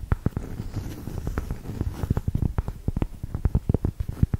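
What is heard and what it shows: Long nails tap and scratch across the coarse granular face of a solid cork yoga block. A quick run of dull, low, dry taps with almost no ring sounds over a soft scratchy rustle.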